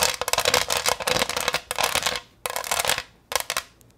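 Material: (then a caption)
Plastic. Long green nails rapidly tap and scratch a thin, hollow, green textured pineapple-shaped plastic tray held up in the air. The result is dense, bright clicking and scraping with almost no low end, coming in bursts that stop briefly and then resume.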